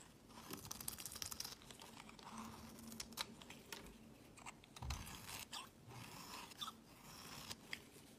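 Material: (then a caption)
Soap. A solid, square, cream-colored hard laundry soap block is held in the hand and shaved into curls with a utility knife blade. Quiet, dry crunching and scraping strokes with bright, crisp edges repeat throughout, some louder cuts standing out against a soft, steady scraping texture.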